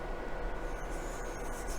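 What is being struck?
Nothing is struck.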